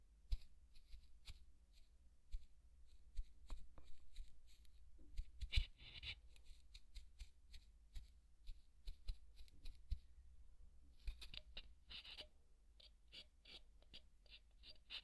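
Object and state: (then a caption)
Polystyrene foam ball. A large, white, solid polystyrene foam ball is poked and scratched with a wooden skewer. Quick, dry, bright ticks and crisp squeaky scrapes come in irregular bursts, with denser rasping stretches around the middle and near the end, over a steady low hum.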